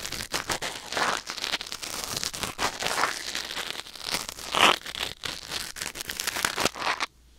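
A thin wooden or bamboo ear pick scrapes and scratches inside the ear canal of a white silicone ear mounted on a black binaural microphone. Close, dry, crackling and crinkling scrapes come in rapid bursts, bright and airy with almost no low end. The sound stops abruptly into near silence at the end.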